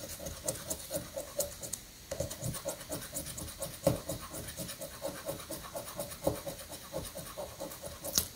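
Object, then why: Paper scratch-off ticket scraped by a metal coin. A metal coin rapidly scratches off the remaining coated spots on a paper scratch-off lottery ticket held flat on a granite surface. About fifteen quick, gritty scrapes repeat in a steady rhythm, each with a brief rasping tone and a bright, papery hiss.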